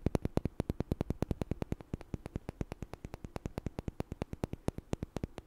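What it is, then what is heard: Small wooden blocks. Two small, solid, light wooden blocks are knocked together and tapped with fingers close to the mic. About fifty short, dry clicks and knocks follow each other rapidly, each dying almost instantly, with a low woody thump under a bright click. A faint hiss sits beneath the taps.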